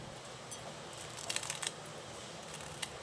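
A freshly fried poha-and-rice-flour chakli is snapped apart by hand, giving a cluster of sharp, bright crunchy cracks around the middle of the clip and another crisp snap near the end. The snapping sound shows the chakli is crisp and well fried.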